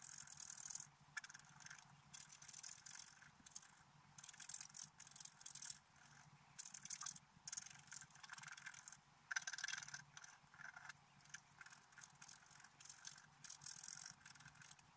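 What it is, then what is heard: Scratch-art card being scraped. A wooden stylus scrapes across a flat, black-coated scratch-art paper card in a run of quick, irregular strokes separated by brief pauses. The scratching is dry and bright, with most energy in the high range, a band around 1.5 kHz and almost nothing low. Each stroke stops instantly with no ring.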